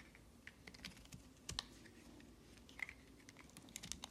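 A metal knife blade scrapes and carves curled slices off a solid, palm-sized green hard soap bar held in the hand. Quiet, crisp scraping ticks and clicks repeat in quick succession, bright and dry, with a few sharper snaps along the way.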